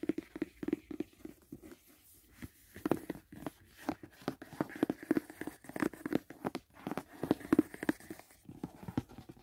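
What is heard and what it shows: Fingers tap and scratch along the edges, corners and sides of a closed, hollow white rigid cardboard gift box. The result is a quick, irregular run of short, dry, hollow knocks with a low-mid body, with soft scratchy rustles between the taps. The knocks vary in strength and die away almost at once.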